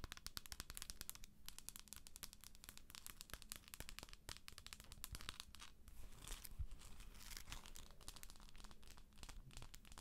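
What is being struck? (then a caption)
Plastic moon lamp. Long acrylic nails tap the top and scratch the sides of a hollow plastic galaxy moon lamp. The result is a rapid, dense stream of sharp, bright clicks mixed with dry, crinkly scratching over a steady low hum.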